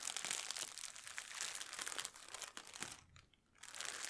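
A thin, empty clear plastic packaging bag is crumpled and crinkled on a table by both hands with long nails, beside an untouched headphone box. Dense, bright crackling and rustling fills most of the clip, thinning to near silence around the three-second mark before resuming.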